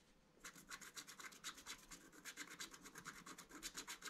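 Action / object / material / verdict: scrape / black-coated scratch art paper card scraped with a wooden stylus / coated paper / none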